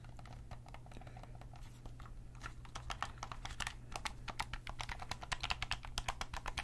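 Small buttons and face buttons on a hollow black plastic Sony gamepad are clicked with fingertips and nails. A quick, uneven run of sharp, dry clicks grows louder and denser in the second half over a steady low hum.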